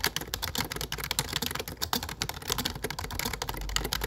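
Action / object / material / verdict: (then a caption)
tap / low-profile plastic computer keyboard / plastic / none. Fingertips type steadily on a low-profile plastic computer keyboard with dark plastic keycaps. The result is a rapid, continuous stream of short, bright clicks and taps that die away almost instantly, over a faint low hum.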